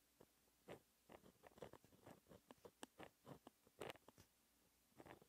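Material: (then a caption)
Paper. A fine white-ink pen held in the fingers scratches across a flat, black, textured paper sheet while writing the final lines of a formula. The result is a quiet series of short, dry, scratchy strokes with brief bright edges and no ringing between them.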